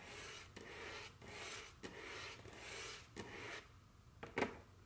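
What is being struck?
Wooden table top.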